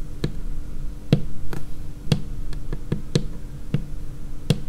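Long painted nails of both hands tap a large, solid, dark laminated tabletop in slow, irregular taps. Each tap is a short, dry knock with a low body around 148 Hz and a faint bright click, dying away almost at once over a steady low hum.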